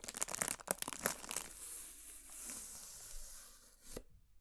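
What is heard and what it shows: Long nails scratch a large, hollow, heart-shaped cardboard gift box with a heart pattern, held in the hands. It starts with a quick burst of sharp, papery crackling and scraping, then settles into a softer, steady hissing scrape. It ends with one brief crisp tick before going quiet.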